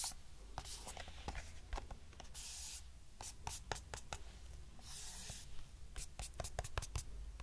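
A small, hollow lavender-grey cardboard box has its surface rubbed and scratched with long nails. Quick, bright ticks and taps come through over a steady low hum, with two longer, breathy scraping swishes partway through.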